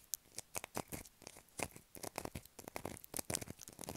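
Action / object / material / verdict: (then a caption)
scrape / bar of soap scratched with fingernails / soap / none. Long black acrylic nails tap and scratch a light blue solid bar of soap held in the hands. The result is a quick, irregular run of short, crisp scratches and taps with bright, high edges and almost no ring.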